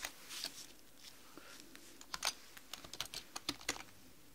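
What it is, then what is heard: Plastic computer keyboard. Long manicured nails and fingertips type rapidly on a black mechanical computer keyboard with plastic keys. About 15 quick, bright, clicky taps come at an uneven pace over a faint hiss, each dying away almost at once. The first second has softer rustly clatter before the sharper taps cluster toward the end.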